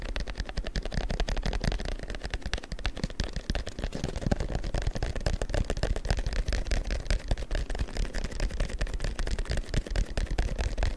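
A long, thin printed paper strip is held taut with both hands while fingertips tap and rub along it. The result is a dense, continuous stream of quick, dry taps and papery scratches with a heavy low thump, and each tap fades almost at once.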